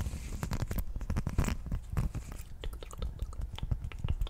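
A thin blue textured silicone/rubber sheet with a honeycomb pattern is held up and scratched with long nails. Quick, dense scratching strokes give a soft, crackly texture weighted toward low, rumbly tones with brief bright ticks, and each stroke dies away almost at once.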